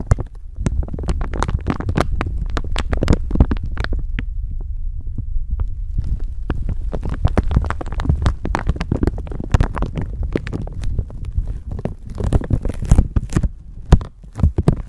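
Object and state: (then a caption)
Clear plastic bag. A thin clear plastic bag stretched over a microphone is crinkled with long nails and fingertips, producing dense, continuous crackling with sharp bright snaps. A heavy low thumping rumble from handling the microphone underneath runs beneath it throughout.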